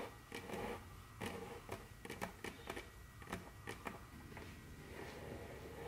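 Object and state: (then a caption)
Wooden tabletop tapped and scratched with fingernails. Very long curved fingernails tap and scratch on a large, solid, dark brown glossy wooden tabletop. Ten sharp, bright clicks stand out over soft scratching, each dying away almost at once. The result is a quiet, close, dry sound.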